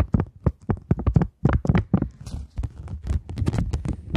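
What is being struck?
Polymer banknote.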